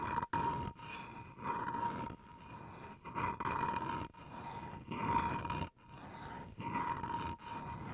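Fingernails scratch the edge and face of a small solid bamboo wood chopping board held edge-on close by, making raspy, gritty strokes that come in repeated bursts of varying loudness. A steady tone around 930 Hz runs under the scratching, with bright, hissy texture on top.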